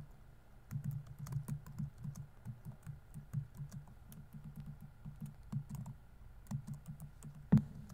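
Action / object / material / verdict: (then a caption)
tap / plastic laptop keyboard / plastic / none. Fingertips type continuously on a dark laptop keyboard with plastic keys on a hollow body, giving a steady run of soft, low, muffled tapping key presses. Each press is short and dull with almost no ring, and one sharper, louder press stands out near the end.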